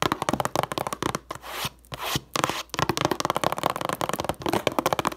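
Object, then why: Cardboard tissue box. Long nails tap and scratch the sides of a cube-shaped Puffs cardboard tissue box, hollow with tissues inside. Fast, dry, crisp taps run through the clip. In the middle they give way to a few longer, hissy scratching strokes before the quick tapping resumes.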